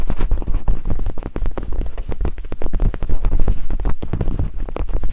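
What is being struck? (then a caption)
Silicone microphone ears tapped with wooden picks. Two wooden picks tap and scrape rhythmically over silicone binaural microphone ears. The result is a rapid, dense stream of deep, muffled thumps and rubbing scrapes, almost entirely low-pitched with little brightness.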